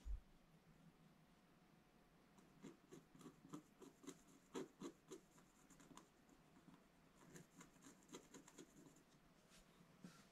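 A pointed wooden stylus scratches lines into a black-coated scratch-art paper page in a bound book. After about two seconds of low hiss, a quiet series of short, dry scraping strokes follows, each a brief rasp with a bright edge, continuing until the end.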